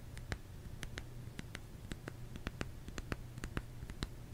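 Fingertips tap on a solid bar of soap in an irregular, quick series. Each tap is a short, dry tick with a bright edge that dies away almost instantly, over a faint, steady low hum.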